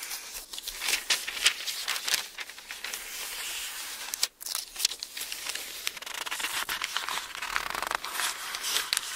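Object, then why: Thin paper book pages. A hand sweeps and rubs across the thin paper pages of an open Bible while turning them. It makes a continuous bright, dry rustle full of quick crinkly scrapes, with a brief hush near the middle before the rubbing picks up again.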